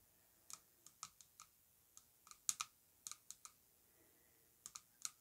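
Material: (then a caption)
Glass. Long nails tap quickly and repeatedly on the lower section of an orange-coated Yara Tous glass perfume bottle lying on fur. The taps are quiet, sharp, bright clicks that die away almost instantly, coming in short irregular bursts with brief silences between them.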